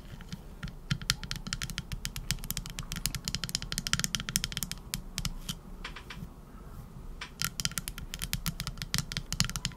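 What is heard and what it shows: Long acrylic nails tap rapidly on the back of a teal epoxy resin shell-shaped trinket dish with gold glitter and embedded shells. The result is a dense run of short, bright, clicky taps over a steady low rumble, easing off briefly before picking up again.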